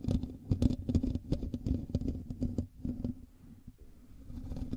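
Fingertips and nails of both hands scratch the hollow metal mesh grille of a black USB microphone, producing a dense, irregular patter of dull, low-heavy scrapes and taps over a faint steady tone. The scratching is busiest at the start, thins out and grows quieter partway through, then picks up slightly again at the end.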